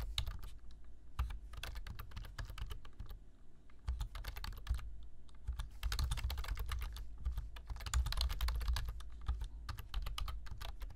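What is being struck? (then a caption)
Plastic computer keyboard. Fingertips type on a black plastic computer keyboard, producing fast, irregular bursts of short, dry key clicks with brief pauses between runs. A steady low hum sits beneath the bright, crisp taps throughout.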